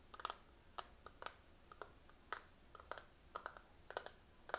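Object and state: Plastic eyeshadow palette tapped.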